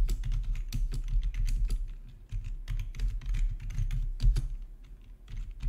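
Fingertips type on a full-size black plastic RGB backlit gaming keyboard with a hollow housing, resting on a marble surface. A steady, irregular run of quick clacks is heard, each with a hollow, low thump and a bright tick on top that dies away almost instantly.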